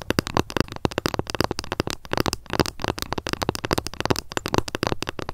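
Long nails tap and scratch quickly along the surface of a long, flat, solid bamboo ruler lying on a fluffy mat. The result is a dense, continuous stream of short, dry clicks and crackly scrapes with almost no ring.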